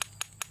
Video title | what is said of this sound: Quick Cleaning Iron Civil War Relics From A Recent Adventure | you'll hear the cocoons break away